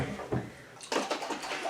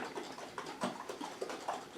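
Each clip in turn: First: liquid cream sloshing in a shaken jar. Second: butter separated from buttermilk, sloshing in a shaken jar.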